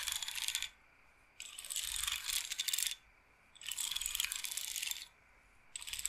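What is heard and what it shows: Long nails scratch and roll the beads on the wooden bead frame of a wooden bead roller massager. It makes bright, dense rattling clicks in four bursts separated by short silences, with the last burst cut off at the end.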